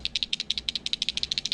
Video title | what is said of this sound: My LAST BassBaitsMonthly Video EVER + 250 Subscriber Giveaway | a lot of them have like a little tiny faint bb in them but they also have like this rubber ball that makes like a really different noise just super subtle